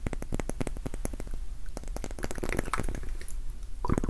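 A small, solid, cylindrical pink wax pillar candle is tapped with fingertips and nails. The result is a rapid run of soft, dull, low clicks and thuds with almost no ring, punctuated by brighter nail ticks. A louder scratchy rustle comes near the end.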